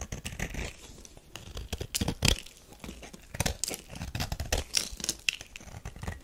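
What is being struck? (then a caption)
Solid bar of soap scraped by a metal knife. A metal knife shaves crumbly flakes off a solid tan bar of soap. The clip is a close series of short, dry scraping and crinkly crumbling strokes with bright hiss and some low thuds.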